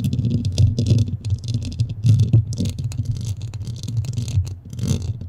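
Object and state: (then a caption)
Foam microphone windscreen being scratched. Long nails scratch quickly over the top and sides of a black foam windscreen on a microphone, with the hollow head underneath. The result is a dense, irregular run of low, muffled rubbing thumps that are heavy in the bass, with brief bright scratchy flecks.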